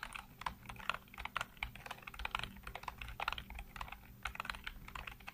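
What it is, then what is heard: Plastic computer keyboard. Fingertips type rapidly across a full-size black plastic keyboard with hollow keycaps, producing a quick run of sharp, clacky keystrokes with a bright, hollow click. Each tap stops almost instantly, over a faint steady low hum.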